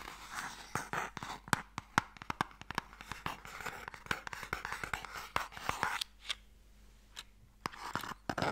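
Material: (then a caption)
Wood. Fingernails scratch and tap along the surface and edges of a small, long, hollow wooden Mikado box held close. Soft, dry scraping runs beneath many sharp, quick taps that die away almost instantly. Near the end the scratching drops out, leaving sparser, isolated taps.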